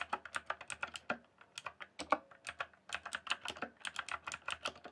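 Fingertips type fast on a rainbow-backlit mechanical keyboard with plastic keycaps. The result is a quick, uneven run of short, bright, clacky keystrokes that die away almost instantly, with brief pauses between bursts.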